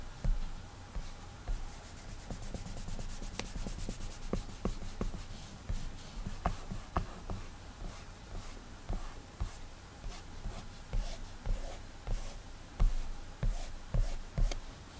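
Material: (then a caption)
Glass. A fingertip drags and rubs across the glass touchscreen of an iPad while drawing, making a soft, low, continuous rubbing and squeaking. Occasional short, dull taps on the glass stand out from the rubbing.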